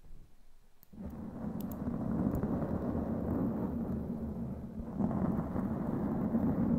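Long glittery claw nails scratch and tap a black foam windscreen over a microphone head. After a quiet first second, a dense, muffled, rumbling scratch begins and grows louder near the fifth second, with occasional faint tap clicks on top.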